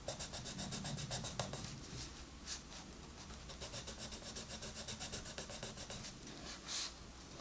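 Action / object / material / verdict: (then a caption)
scrape / wooden colored pencil rubbing on a paper coloring-book page / paper / none. A green wooden colored pencil rubs and scratches across the page of an open paper coloring book lying flat, filling in color. Quiet, rapid, bright scratchy strokes repeat in an uneven rhythm over a faint low hum, with a few brief brighter swishes.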